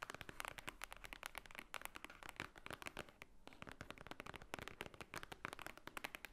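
Long nails rapidly tap and scratch the top of a large, thick, solid block of white paper pages. The result is a dense stream of crisp, dry, bright clicks with a papery scratch underneath, each tap dying away almost instantly. There is a brief pause just past the three-second mark.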